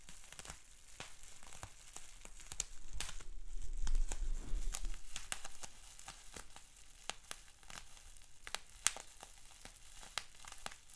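Fingertips and short nails scratch, crinkle and pinch a large, clear polyethylene bubble wrap sheet with small air-filled bubbles. Many sharp, bright clicks and snaps sound over a soft, steady crinkling rustle. The crinkling swells louder about a third of the way through, then settles back to quieter scratching.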